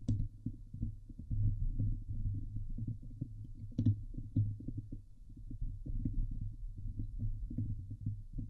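Long nails of both hands scratch fast over the hollow steel wire-mesh dome grille of a Blue Yeti microphone. The result is a dense, continuous run of muffled low thumps and rasping rumbles centered near 100 Hz, with a few brief brighter scrapes cutting through.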